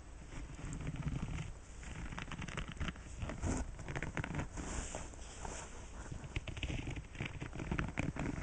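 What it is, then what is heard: Silicone scrubber pad scratched with fingernails. Fingertips with painted nails strum, scratch and flick across the bristles and soft nubs of a flat bright-green silicone scrubbing pad lying on a white cloth backing on a wooden table. The result is a steady, quiet stream of soft crackling and pattering taps with a dull low body and faint bright edges, each tap dying away almost instantly.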